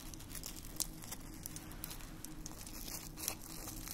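Fingertips pick up dried red rose petals from a pile in a small white dish on a wooden stand and crumble the dry petals between the fingers. A soft, steady crinkling and crackling runs throughout, with brief bright ticks over a low, constant background hum.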